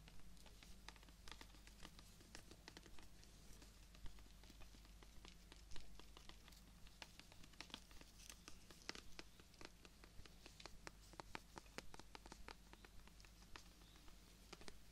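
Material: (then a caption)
Plant stem. A long, thin, solid green stem from a fresh rose is held horizontally while fingernails scratch and tap along it. Sharp, bright clicks and scrapes sound at an uneven pace over a steady low hum, and a few louder taps stand out.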